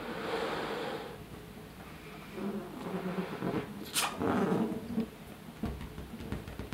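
Fingertips with short nails rub and tap the taut surface of a large, hollow, air-filled blue latex balloon held up in front of a face. The result is soft, squeaky rubber rubbing with low, droning tones, broken by a sharp bright click midway and a few dull taps.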